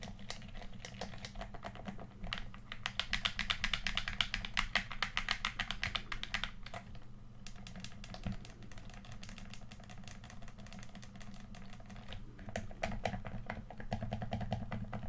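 Fingertips click the buttons and tap the surface of a hollow red plastic PS4 controller held in both hands. Rapid, irregular, dry clicks and taps with a bright edge sit over a steady low hum. The clicking is busiest and loudest in the first half and again near the end.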